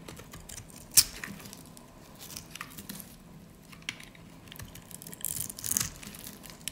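A metal utility blade scrapes scored slivers and cubes off a solid pink rectangular bar of dry soap held in the hands. Bright, dry crunching and crackling scrapes come with a sharp, loud snap early on and a denser burst of crumbling crunches near the end.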